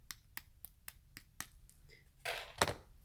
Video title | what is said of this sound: Papa John's NEW Crispy Parm Pizza Review! | om jag knackar på den har den graden av soliditet, men jag bör notera att det inte är till den punkt där det är som att du känner en kex